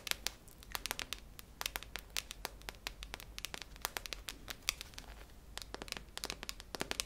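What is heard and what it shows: Long nails tap and scratch the metal body of a hollow, cylindrical silver tin with a red plastic lid, held close to the ear. The result is a quick, irregular run of sharp, bright clicks with soft scratchy crackling between them, each tap dying away almost instantly over a faint low hum.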